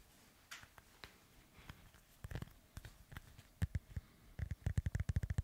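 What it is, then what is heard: Foam microphone windscreen being rubbed. Fingertips of both hands rub and scratch a black foam windscreen on a microphone. The result is soft, muffled scuffs and thumps that are mostly low and boomy, starting sparse and quiet, then growing into a quick, louder run of short bursts near the end.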